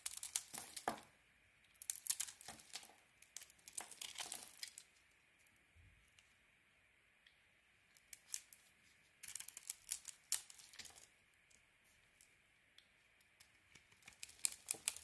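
A metal blade carves and scrapes thin layers off a solid, glossy, hand-sized blue bar of soap with a white core. Quiet, bright, crisp scraping and crackling comes in short clustered bursts, separated by near-silent pauses over a faint steady hiss. There is almost no low end.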